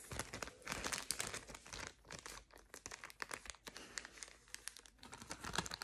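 A small, thin, flexible clear plastic ziplock bag, apparently empty, is held in both hands and crinkled and scrunched with long purple nails and fingertips. It makes a dense, bright run of sharp crinkling and crackling, rising and falling in loudness. The sound has quick, dry snaps and little low end.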